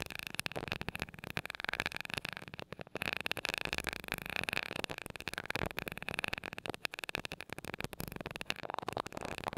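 The tip of a glass rod taps rapidly on top of the small gold metal mesh grille of a mini microphone. The result is a dense stream of crisp, bright ticks and scratchy clicks with a faint ringing tone near 2.5 kHz. Each tap dies away almost instantly.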